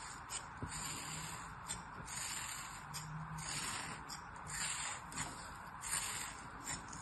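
A black-handled metal blade scores parallel cuts across a hand-sized solid molded kinetic sand animal figure resting on an open palm, then scrapes through the sand. Seven soft, gritty crunches stand out over a continuous bright, hissy scraping texture, at a quiet level.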